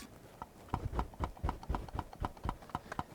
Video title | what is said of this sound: 5 REASON TO BUY THE 20mm F1.8 . . . (Instead Of The Tamron 17-28mm)!! | because of the way that the focus system uh works in this lens the element moves around